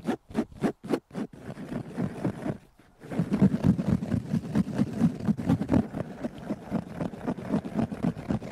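Fingertips and nails scratch and rub a hanging blue nylon and mesh fabric backpack with zippers that is soft and partly empty. About six separate strokes come first, then a short pause, then steady rapid scratching with a dull, rough, low-to-mid rasp.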